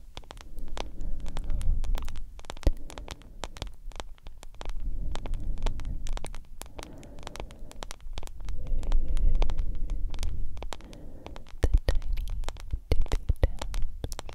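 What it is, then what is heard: Smartphone in a silicone case. Long acrylic nails tap and scratch a hand-sized smartphone in a yellow silicone case, held upright near the microphone. Rapid, irregular sharp clicks ring out brightly over a low, throbbing rumble that swells and fades in waves.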